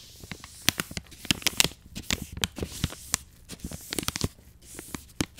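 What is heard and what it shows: An angled paintbrush brushes the crinkly plastic side of a soft plastic wet wipes pouch standing upright. Bright, dry crinkling and crackling scratches come in quick uneven strokes with sharp snaps over a faint low rumble, each snap ending almost instantly.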